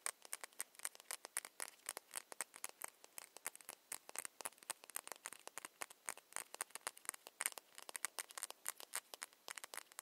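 Long nails tap a small ceramic foundation bottle with a cap in quick, uneven bursts. The result is a continuous patter of quiet, sharp, bright clicks with almost no low end and no ring after each tap.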